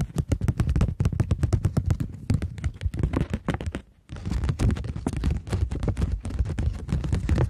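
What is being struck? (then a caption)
Polymer plastic banknote. Long nails tap and scratch a polymer plastic £20 banknote, first while it is curved and then while it is held flat. Rapid, crisp clicking taps with a soft, low thump under them and bright ticks on top run steadily, with a brief near-silent pause around four seconds. The fast tapping then resumes to the end.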